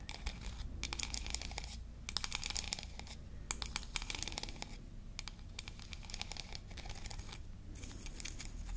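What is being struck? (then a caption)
Wooden toy comb. Long nails scratch and flick along the wide teeth of a small, solid, flat, yellow-painted wooden toy comb from a toy hair-dryer set. The result is bursts of rapid, bright clicking and scratching, separated by short pauses, over a steady low hum.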